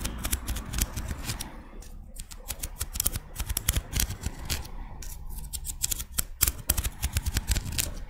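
Long red nails scratch along the ribs of a small, thin, hollow pink-white ribbed scallop shell held in the hands and tap on it. The result is a rapid run of short, dry clicks and scrapes with bright crisp edges over a low, dull rumble.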